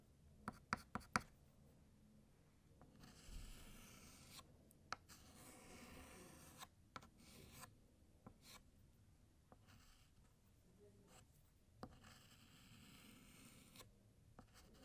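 A white chalk stick held in the fingers draws the digits "2" and "0" on a large, flat, solid black chalkboard. Slow, bright scraping strokes come in bursts, mixed with sharp taps of chalk against the board. The sound is quiet and close, with brief pauses between strokes.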